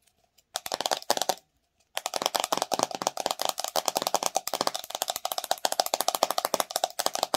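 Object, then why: Plastic jar with screw lid. Long nails tap and scratch the top of a white ridged plastic screw lid and the sides of a plastic "Watermelon Fluffy Slime" jar full of pink slime. A short burst of quick, dry clicks stops for about half a second. Then a steady stream of rapid, bright plastic taps and scratches follows, each click dying away almost at once.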